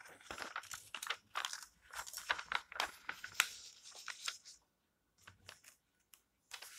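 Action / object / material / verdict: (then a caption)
scrape / glossy paper magazine pages / glossy paper / none. Long-nailed fingers rub the flat pages of an open glossy paper magazine lying on a table, then flip a page over. Dense, bright crinkling and rustling bursts fill the first four and a half seconds, followed by short pauses broken by a few softer scrapes and a final rustle.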